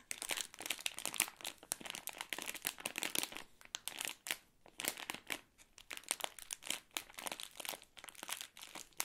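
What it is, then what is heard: Crinkly plastic candy bag. An Ahoj-Brause bonbon bag of crinkly plastic film, full of wrapped sweets, is squeezed and tapped with fingertips and long nails. Dense bursts of bright, high crinkling and light crunching come in quick clusters, with a brief lull near the middle. There is almost no low end.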